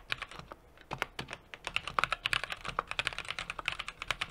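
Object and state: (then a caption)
Mechanical keyboard typing. Fingertips of both hands type rapid key taps on a small 60% mechanical keyboard with an aluminum case, a brass plate and plastic keycaps. About thirty short, bright, crisp clacks follow one another with almost no ring and little low end. Two brief pauses break the flow before the typing settles into a steady, quick rhythm.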